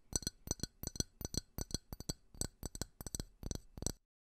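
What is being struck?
Small ridged glass tumbler.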